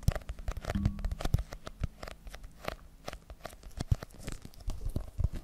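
A small spiral notebook with a glossy printed cardboard cover and a solid paper block is scratched and tapped on its cover and edges with long pink nails. The result is a dense run of quick, dry taps and scratchy crinkling, mostly low and thumpy with a few brighter clicks, and each sound dies away almost at once.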